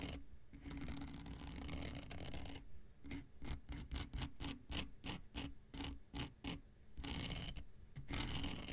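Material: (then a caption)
Emery. An X-Acto knife blade is scraped in short strokes across a long, flat, dark grey emery nail file with a solid, gritty surface. A steady gritty rasp gives way to a quick series of separate bright scratches, then returns to continuous scraping.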